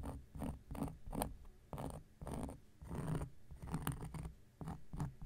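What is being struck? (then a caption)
Cork coaster. An X-Acto knife blade scratches across a large, round, flat coaster of solid cork lying on a surface. It makes a run of short, dry, rasping strokes with soft gaps between them. The sound is mostly muffled and low, with a faint bright edge and no ring after each stroke.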